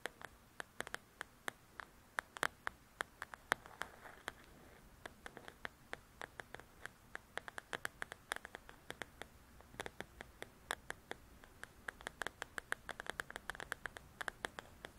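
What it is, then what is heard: Paperback coloring book, glossy cover scratched. Long nails scratch and tick across the glossy cover of a paperback paper coloring book, making a steady run of many sharp, dry clicks. The faint scratchy patter has bright edges, a light tone around 1.6 kHz and almost no low end, and each click stops at once against a quiet hiss.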